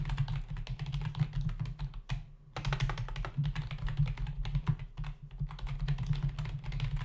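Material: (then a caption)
Plastic. Fingertips of both hands type rapidly on a full-size black plastic membrane keyboard with hollow keys resting on a dark desk, producing a dense stream of short, clicky taps. The typing briefly pauses just after two seconds, then resumes at the same quick pace over a steady low hum.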